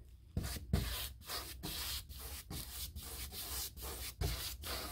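A paintbrush held in the hand is stroked repeatedly along the panel edges and stiles of a panelled, molded hardboard interior door, likely a hollow-core molded composite with a woodgrain texture. The result is a steady, scratchy bristle rub with bright hiss and a low undertone, broken by brief pauses between strokes.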